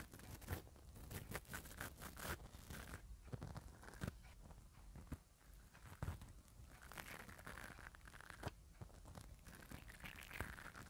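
A black-bristle spoolie brush on an orange handle is rubbed and scratched over the hollow metal mesh grille of a small handheld mini microphone held in one hand. The result is a close, scratchy, crunchy rustling with a heavy low rumble, broken by frequent sharp clicks and bright bristle scrapes.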